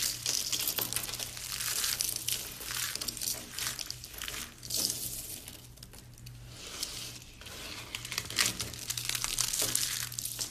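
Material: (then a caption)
Soap. A handful of thin, dry, pale yellow soap shavings and curls, crumbly brittle flakes, is cupped between both palms and crushed and squeezed by fingers with long painted nails. Dense, bright crinkling and crunching crackles almost without pause, easing briefly in the middle before building again, over a faint steady low hum.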